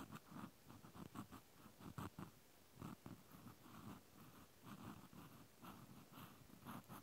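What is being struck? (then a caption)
Plastic clothespin scratched with a cotton swab. A cotton swab tip scratches inside the hole of a white plastic clothespin, close up. Soft, dry rasping scrapes come in uneven bursts, mostly low and muffled with a faint bright hiss.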